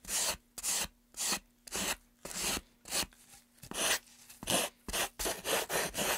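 Sandpaper is rubbed along the edge and face of a solid, light-wood, grooved carved pine tray held in a gloved hand. About fifteen bright, raspy sanding strokes come in an uneven back-and-forth rhythm, with short quiet gaps between them.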